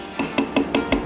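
A resin part of the handle on an older TIMEMORE C3 hand coffee grinder is tapped five times, giving short, dull knocks with a brief ring centered around 277 Hz. This resin part was prone to cracking and sounds completely different from the newer metal version.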